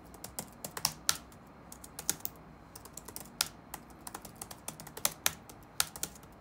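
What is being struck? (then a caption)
Plastic laptop keyboard. Fingertips type rapidly on the black plastic keys of an open laptop resting on a wooden desk. About two dozen crisp, bright clicks of uneven loudness come at an irregular rhythm, each dying away almost instantly with very little low end beneath them.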